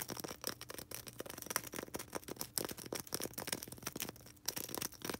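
Long red acrylic nails rapidly tap and scratch a small, solid white polystyrene foam ball. The result is a dense, fast stream of dry, crisp clicks and scrapes with a bright, hissy edge, little low end and almost no ring after each contact.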